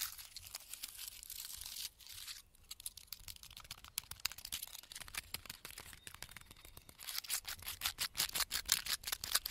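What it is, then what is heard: Pine bark scratched with fingernails. Fingertips and nails scratch across the thick, flaky bark of a large, solid pine trunk standing in a forest. The result is dry, bright, crackly rasping in quick, uneven strokes, with a brief softer lull around two seconds. The scratching then returns and grows louder and sharper toward the end.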